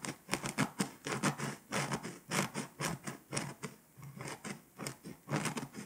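A pink scraper, held in a hand with long nails, scratches the foil coating of a flat, foil-coated paper scratch-off map in quick strokes. Short, dry, bright scratching bursts repeat in an uneven rhythm, each stopping dead with no ring.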